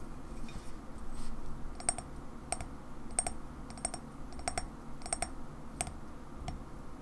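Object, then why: Ceramic mug. Long fingernails tap and scratch the white unglazed base of a black-and-white printed ceramic coffee mug held tilted in the hands. Short, sharp clicks with a bright ring come at a slow, uneven pace over a steady low rumble, and each one fades almost at once.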